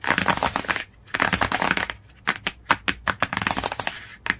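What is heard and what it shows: Fingernails tap and scratch on the glossy cardboard cover of a hardcover book. Dense, scratchy bursts of bright, papery noise come first, broken by a short pause, then give way to quick, sharp taps with very short decay.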